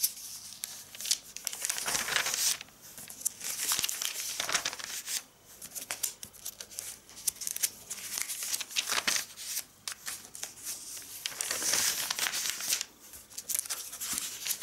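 Fingertips with red-painted nails, a ring on the hand, slide across the glossy pages of an AVON catalog, issue 4 of 2019, lying open on a table, and flip the pages. The result is bright, crinkly rubbing and swishing that rises and falls in sweeps, with sharp papery crackles as each page turns.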